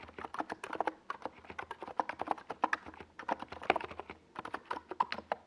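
Both hands type with fingertips on a compact 68-key NiZ Plum Atom 68 mechanical keyboard, with a hollow white plastic case and purple and yellow plastic Domikey Gas Attack SA keycaps, resting on a desk pad. About 33 quick keystrokes come in a steady stream, each a short, dry, clacky mid-toned tap with little low end and almost no ring.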